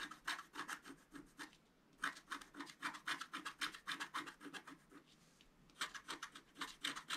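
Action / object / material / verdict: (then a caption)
scrape / black-coated scratch-art paper card scraped with a wooden stylus / coated paper / none. A wooden stylus scrapes the black coating off a flat, thin scratch-art card held down by one hand. It makes continuous runs of quick, dry, raspy strokes, about four per second, with a bright scratchy edge centered around 1.6 kHz. The runs pause briefly near 2 seconds and again around 5 seconds.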